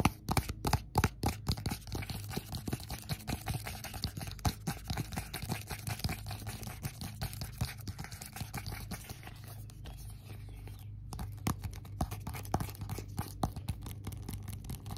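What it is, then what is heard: Cardboard box. A small rigid cardboard iPhone box with a printed lid, held in both hands, is tapped and scratched with fingertips and nails. Rapid, crisp taps and dry scratching run throughout over a steady low hum, easing into a quieter scratchy stretch midway before the taps pick up again.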